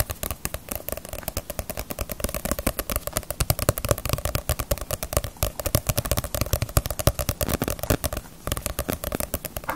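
A small, solid Naruto paperback manga volume with a glossy paper cover is tapped and scratched on its front cover with long nails. The result is a steady, rapid stream of short, dry clicks and taps with a low, papery body and a brief high scratchy edge, with a short pause near the end before the tapping resumes.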